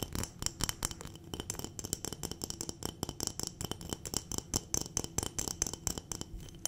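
Long nails rapidly tap and scratch a clear glass jar full of dried berries, making a fast run of sharp, bright clinks with very little ring. The dried berries inside rattle with each hit, over a dry scratching texture.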